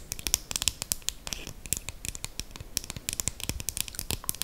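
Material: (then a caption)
Plastic. A slim dark brown KVD eyeliner pen, solid and small, is held up close and tapped and scratched along its barrel with long green acrylic nails. Rapid, dry clicks and scratchy ticks come in quick uneven bursts, bright and crisp with almost no ring.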